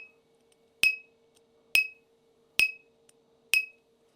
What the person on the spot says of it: you hear that high pitch Ting and then there's a carry-on ring afterwards